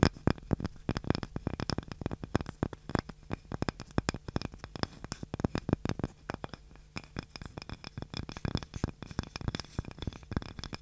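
A small, light, solid wooden cutting board with a handle is scratched and tapped with long nails. Dense, rapid dry clicks and scrapes follow one another with almost no ring, with a low thump under each tap.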